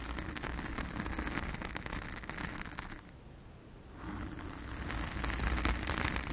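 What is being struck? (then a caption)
Foam microphone windscreen. Long acrylic nails on both hands scratch and rub a soft, porous, round blue foam windscreen covering a microphone. Dense, crackly scratching and rustling sit over a deep, boomy low rumble. The sound thins to a quiet hiss for about a second midway, then returns and builds louder toward the end.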